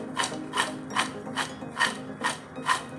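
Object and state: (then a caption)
Crispy fried corn kernels. Deep-fried sweet corn kernels, drained on a sieve, are stirred and shaken, giving seven bright, dry crunchy rattling bursts at a steady pace over a low, steady background tone. The crisp rattle shows the kernels have become nicely crispy, and their puffing up shows they are properly fried.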